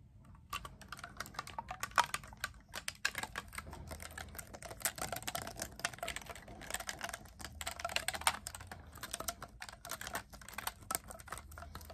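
Fingertips rapidly tap and click the silver metal keys of a black clarinet, a hollow tube held horizontally and then upright. The result is a fast, continuous stream of short, bright clicks with almost no ring, over a faint low hum.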